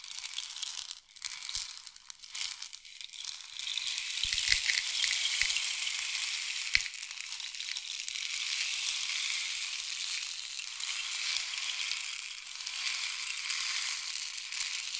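A long, hollow painted wooden or bamboo rain stick is tilted back and forth in both hands, sending its internal filling pouring through the tube. The result is a steady, bright, hissing patter, like falling rain, with almost no low end. It starts quieter with a few brief dips, then swells into a continuous shower that gently rises and falls as the stick is turned.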